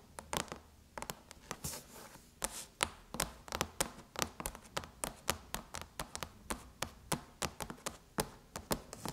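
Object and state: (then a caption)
Aluminum laptop lid. Long chrome nails tap on the surface of a closed silver aluminum MacBook lid with the Apple logo. A steady, irregular series of short, crisp, bright clicks follows, each dying away almost instantly over a soft background hiss.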